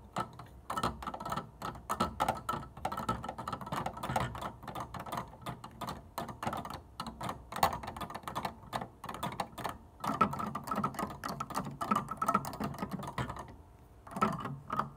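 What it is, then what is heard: Plastic piano keys. Fingernails and fingertips tap along the fronts and tops of the plastic keys on a wooden upright piano without playing any notes. The result is a steady stream of dense, rapid, dry clicks and soft knocks, mostly in the midrange with little high content, each tap dying away almost at once, with a brief quieter pause near the end.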